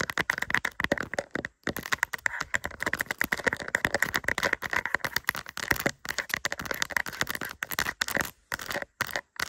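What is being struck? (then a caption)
Resin rhinestone sticker on plastic backing. A small, flat, doll-shaped diamond-painting sticker, thin and solid with resin rhinestones on a plastic backing, is held in both hands and scratched with long acrylic nails. The result is a dense run of rapid, dry, crackly clicks and rattling scratches with a bright, glassy edge, broken by a few brief pauses.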